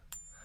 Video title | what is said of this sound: The BEST ways to TEST for FAKE SILVER at home! #silverstacking | copper nickel has a really really nasty High toned whiny kind of pitchy noise to it